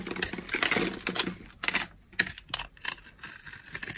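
A utility knife blade scrapes across a solid rectangular bar of dry pale yellow soap with a grid-scored surface, held in the palm. It makes crisp, bright, dry scratching and crackling strokes in irregular bursts, with a short, dead decay and little low end.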